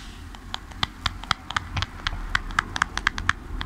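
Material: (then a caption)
Cardboard. Fingertips and nails tap the sides of a small, hollow, printed cardboard product box held close to the mic. The result is a quick, irregular run of short, dry, papery clicks with a hollow knock near 1.7 kHz and bright tops that stop at once with no ring, over a faint low hum.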